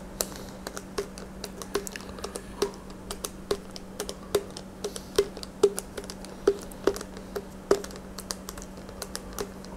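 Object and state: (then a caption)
Plastic sports drink bottle, tapped. Fingertips and nails tap and squeeze the sides of a hollow plastic Gatorade bottle with an orange cap, partly full of red liquid and held in both hands. The result is rapid, irregular, sharp clicks, each with a brief hollow tone near 400 Hz and a bright tick, over a steady low hum.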